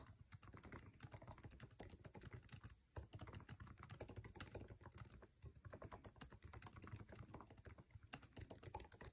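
Fingertips of both hands type fast on the backlit, low-profile scissor-switch keyboard with plastic keycaps of an aluminum MacBook Air resting on a table. A dense, continuous stream of quick, light clicks and soft taps plays with a muted low thud under each keystroke and a faint bright tick on top, each sound dying away almost instantly.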